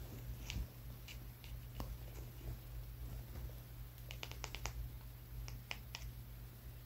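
A small, solid brown rock about the size of a walnut is held in the fingers of one hand and tapped with the fingertips and nails of the other. The taps come as sparse, short, dry clicks with a bright edge, bunching into quicker runs in the second half. A steady low hum sits underneath throughout.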